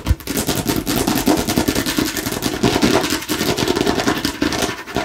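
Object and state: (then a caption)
Hollow hard plastic container. Long nails rapidly and aggressively tap and scratch a hollow, hard plastic watermelon-slice container, working over its green back and red front sides. The result is a dense, continuous stream of sharp clicks and scraping rasps with a hollow, mid-pitched knock and bright, crackly highs.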